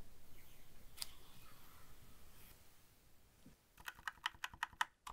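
A small black Razer BlackWidow V3 65% mechanical gaming keyboard with plastic keycaps and a solid body lies on a desk while gloved fingertips press its keys in a typing motion. After a quiet stretch with a single sharp click, a quick burst of about nine crisp, bright key clacks follows in a loose, uneven rhythm.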